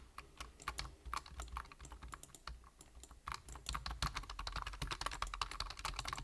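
Fingertips tap fast on a black plastic computer keyboard with hollow keys, producing a rapid, uneven stream of short, dry clicks. Each click carries a bright, hollow midrange tone with a steady low rumble underneath. The typing grows denser and slightly louder in the second half.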